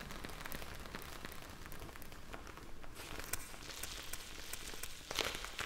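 A hand-sized clear plastic zip bag filled with small blue gel beads is held up in the hands, scratched and squeezed with long painted nails. Dense crinkling and squishing crackles run steadily throughout, with sharp bright ticks of nails on the plastic and a louder burst of scratching near the end.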